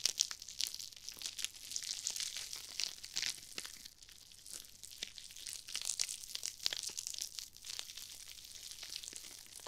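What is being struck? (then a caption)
Nylon mesh scrub sponge. Long-nailed fingertips squeeze and scrunch small, foam-filled, pink and red glittery nylon mesh scrub sponges beside an ear microphone. The result is a dense stream of bright, crinkly crunching and crackling, almost entirely high-pitched with little low end, swelling and easing in loudness. The sponges stay the same throughout.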